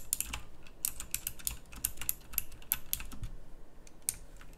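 Fingertips type fast across a full-size pink plastic mechanical keyboard with round typewriter-style keycaps, a backlight and a hollow case. Rapid, bright, clicky key presses crack out in a quick uneven stream, each one short and dry, over a faint low rumble.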